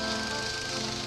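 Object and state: Nothing is struck.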